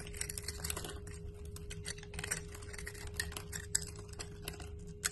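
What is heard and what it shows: A utility knife blade scrapes and carves shavings off a solid rectangular cream-white bar of soap held in the palm, its surface already scored, as flakes crumble away. The sound is a quiet, continuous dry scraping and crackling, full of bright, crisp ticks. A few sharper clicks stand out over a steady low hum.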